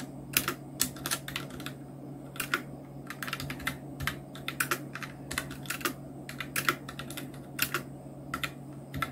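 Both hands type continuously with their fingertips on a full-size black Nubwo Illution NK-70 mechanical keyboard with Outemu red switches, round plastic typewriter-style keycaps, blue backlight and a solid housing, resting on a white desk. It produces a steady stream of short, bright plastic clicks and clacks with very little ring. A faint constant low hum sits underneath.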